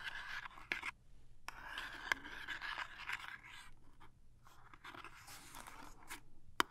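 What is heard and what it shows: Long nails scratch and tap across the printed surface of a small, closed cardboard toothpaste box. Soft, dry scraping runs in bursts, and several sharp taps stand out clearly above it.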